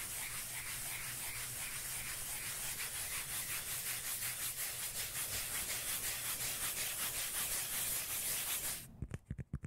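Long manicured nails scratch rapidly across the surface of a flat, solid, palm-sized round cork lid held in front of the microphone, making a steady, bright, rhythmic rasping with a low hum beneath it for about nine seconds. The scratching then stops and six distinct, dull, low taps on the lid follow.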